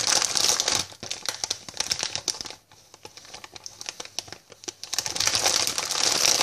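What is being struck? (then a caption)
Plastic sweet bag. A white "I love sweets" plastic packet, opened at the top and filled with sweets, is handled as fingers reach inside, crinkle and squeeze it, and tap its surface with long painted nails. Loud, bright crinkling opens and closes the clip, with a quieter stretch of sharp clicky taps and light rustles in the middle.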